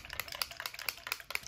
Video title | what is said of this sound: Battle of the Sunscreens Shiseido, Canmake, Nivea, Supergoop, Elta MD, Brush on Block, Cerave, Coola | if you shake it up you hear that little ball inside